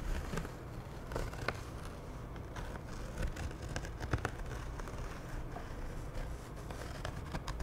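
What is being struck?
Canvas tote bag.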